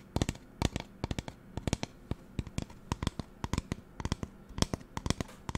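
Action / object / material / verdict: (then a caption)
tap / plastic spray bottle / plastic / none. Long nails tap and scratch the sides of a hollow magenta plastic spray bottle with a white trigger head. The result is a rapid, irregular run of short, dry, clicky taps that stop almost instantly, with faint scratching between them.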